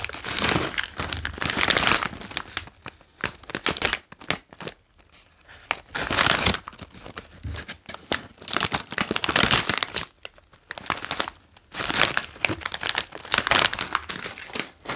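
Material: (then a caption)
Foil plastic. A full green OLW potato chip bag, made of foil-lined plastic, is turned over in the hands and crinkled while fingers rub along its back panel. Bright, sharp crinkling comes in dense bursts separated by short quiet gaps, with little low-end weight.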